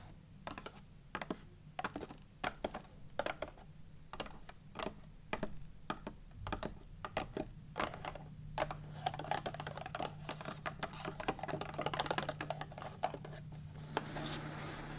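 Long nails and fingertips tap and scratch the lid of a closed white-and-red printed cardboard Raffaello candy box resting on a wooden table. Quick, dry clicks and ticks come in irregular bursts, with softer scratchy rustling filling the gaps, and there is no speech.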